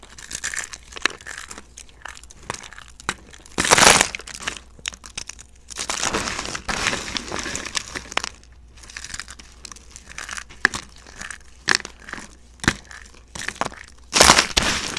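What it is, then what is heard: Dry soap flakes being crunched. Handfuls of dry pink, speckled soap shavings are squeezed and crunched in cupped palms by fingertips with short nails. The clip is full of dry, bright crackling and crinkling, with quieter rustling between sharper bursts and the loudest crunches near 4 seconds and 14 seconds.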